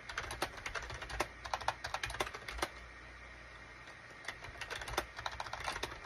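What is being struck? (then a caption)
Plastic computer keyboard. Fingertips type on the keys of a full-size gray and cream SHIPADOO K600 wired USB plastic keyboard with a hollow plastic case, resting on a desk mat. Quick, sharp, bright clicks come in bursts, with a quiet pause of about a second and a half in the middle before the typing resumes.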